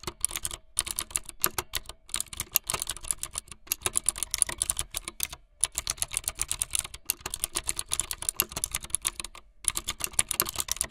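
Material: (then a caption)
Plastic. Fingertips with long light-blue nails type fast on a full-size plastic mechanical keyboard with white, blue and yellow plastic keycaps and a blue backlit frame. Dense, bright, clicky keystrokes run in quick bursts, separated by brief silent pauses.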